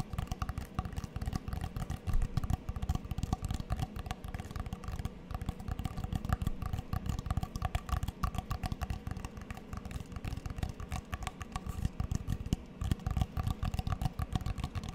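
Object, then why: Cork coaster with plastic frame. A small, flat, solid square coaster with a cork-like centre showing a letter M inside a black-and-white checkered border and a plastic frame is held up near the mic and tapped with long nails. The result is a continuous stream of quick, dull, low tapping clicks that die away almost instantly, with a few sharper high ticks on top.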